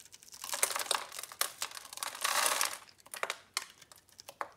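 A metal utility blade scrapes and cuts pre-scored cubes off a solid green bar of soap held in the palm. The result is a series of dry, crisp crunching and crinkling scrapes, bright with almost no low end, including a longer sustained scrape just past the midpoint. The clip ends with quieter, scattered snaps.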